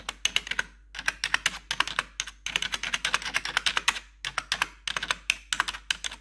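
Metal claw nail tips rapidly tap the black plastic keycaps on the numpad and arrow area of a plastic backlit computer keyboard. Bursts of sharp, bright clicking separated by short pauses, with almost no low end and each tap dying out instantly.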